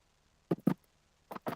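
A rattle inserted through a hole in a soft plastic fishing bait, rigged between the hook point and the front of the hook, is shaken. It gives four faint, short clicks in two pairs, sounding like the clicking of crayfish.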